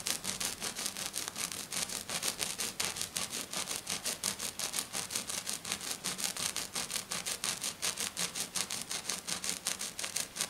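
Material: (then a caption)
Glitter sheet. Fingernails scratch fast across a flat silver glitter sheet lying on a table, brushing its surface with one hand. About 58 quick, bright, hissy strokes repeat in a steady rhythm with almost no low end, each dying out almost at once.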